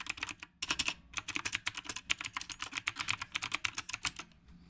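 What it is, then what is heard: Mechanical keyboard with round plastic keycaps. Fingertips type continuously with both hands on a black retro typewriter-style mechanical keyboard with round plastic keycaps. The result is a rapid run of crisp, bright clicks, about 26 distinct keystrokes. A brief pause comes early, and the typing trails off near the end.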